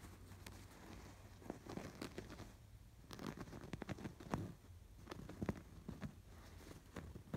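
Fingertips and nails scratch the raised yarn embroidery on a cream woven canvas pillow. The result is a quiet, dull scratching and rustling with irregular crisp ticks and crackles, mostly low and soft with little high brightness.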